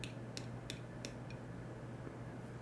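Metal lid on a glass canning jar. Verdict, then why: Sealed. The metal lid of a glass canning jar of pressure-canned baked beans is tapped five times, giving short, sharp, high ticks over a steady low hum. The jar is sealed.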